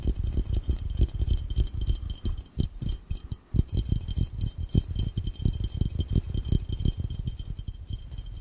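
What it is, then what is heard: Glass fishbowl. A clear, round, empty glass fishbowl is held over the camera with its base toward the lens while fingertips and short nails tap quickly on its glass bottom. The result is a rapid, uneven stream of dull, low thumps centered around 78 Hz, each dying almost instantly, with faint bright ticks from the nails above them.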